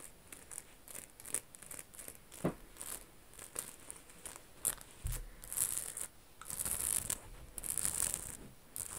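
Long acrylic nails scratch and tap across a black cotton t-shirt held flat, moving over its large rainbow rhinestone Medusa design and the fabric. Soft, irregular scratching and crinkly rustles mix with sharp, bright clicks and brief tapping bursts, with a few louder scrapes along the way.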